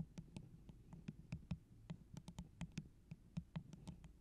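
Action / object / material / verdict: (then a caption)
tap / plastic tumbler cup / plastic / none. Long orange acrylic nails tap the sides of a tall, hollow, empty holographic plastic tumbler with a pineapple print, held close to the microphone. About nineteen quick, dry taps in an uneven rhythm each give a short, hollow low thump near 170 Hz with a faint bright click on top. Each tap dies away almost at once.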